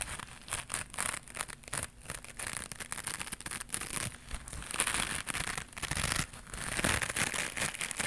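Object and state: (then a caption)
Knitted mesh scrubber pad. A small white knitted mesh scrubber pad, held in both hands, is scratched and squeezed with long pink nails. This makes a dense run of bright, crinkly scratching bursts with quick, dry crackles that stop without ringing. The texture keeps going at a steady low level throughout.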